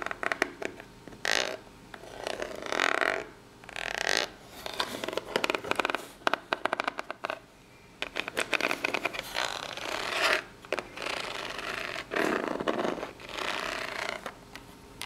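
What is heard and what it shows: Long polished nails tap and scratch the ribbed lid and side of a small, hollow, brown corrugated cardboard box. Bursts of dry, rasping scratching in the mids and highs alternate with quick, sharp taps that stop dead, separated by brief quiet pauses.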